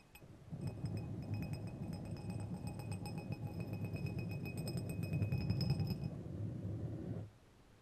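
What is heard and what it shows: Two long, thin, solid steel threaded screws, held one in each hand, are rubbed and clinked against each other close to a microphone. A dense, uneven run of light metallic clicks and bright ringing tones plays over a low rumbling scrape for about seven seconds, then stops abruptly.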